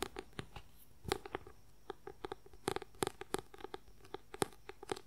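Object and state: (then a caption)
Paperback book. Fingernails tap and scratch quickly on the white paper cover of a paperback book held upright. Short, dry, irregularly spaced clicks with a papery tone around 395 Hz die away almost at once, with faint scratchy rustles between them over a quiet background.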